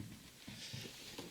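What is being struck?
Nothing is struck.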